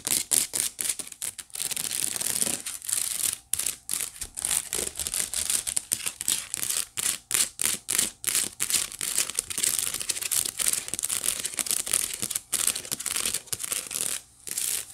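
A white woven wicker basket is held in both hands while long nails scratch across its woven bottom surface. The sound is a bright, dry, crinkly rasping in quick bursts of strokes separated by short silent gaps, with almost no low end.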